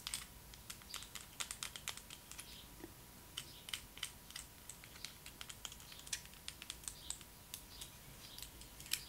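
Long acrylic nails tap and scratch a small, hard, yellow plastic Barbie doll roller skate with a hollow boot, pink laces and pink wheels, held in the fingers. Dozens of quick, dry, bright clicks with almost no ring come in uneven bursts over soft scratching, with a faint steady tone in the background.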